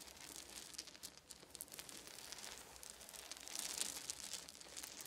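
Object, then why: Pile of small wooden beads. Fingertips of both hands scratch and rake through a pile of small, round, solid wooden beads resting on a fuzzy blanket. The result is a soft, bright, irregular clicking and rattling clatter with little low end, swelling briefly louder toward the end.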